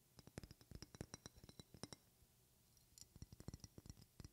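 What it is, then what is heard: Glass perfume bottle. A medium, partly filled glass perfume bottle with a silver cap, held in one hand, is tapped with long red-painted fingernails. About 25 quick, sharp clicking taps come in two runs separated by a brief pause near the middle, each dying away almost instantly.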